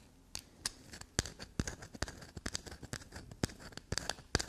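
A small solid black soap block with a rough carved surface, held in the hand, is scratched and tapped by long black glossy nails. Quick, dry clicks and scratchy taps come in an uneven run, each with a bright, crisp edge over a soft low thud, and none of them rings on.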